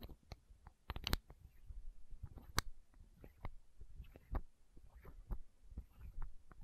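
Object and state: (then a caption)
Plastic eye drop bottle. Long nails scratch and tap a small, hollow, clear plastic eye drop bottle held against the microphone. The result is quiet, dry clicks and taps with bright edges over a low, muffled rumble, mixed with soft scratching that dies away almost instantly.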